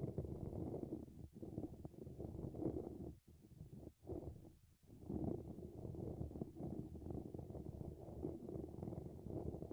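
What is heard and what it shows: Fingertips tap and scratch the top of a dynamic microphone's hollow grille, a dark mesh cap fitted over its silver wire-mesh grille. The result is a dense, muffled rumbling and scraping concentrated in the low and low-mid range with almost no high end, broken by a few brief quieter gaps around the middle before the steady scratching resumes.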